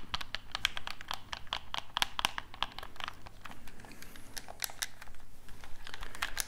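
A black hollow plastic gamepad is tapped and scratched with fingertips and nails while its buttons are pressed. The result is a rapid, steady run of crisp, bright clicks and taps that stop dead, with light scratching between them over a faint low hum.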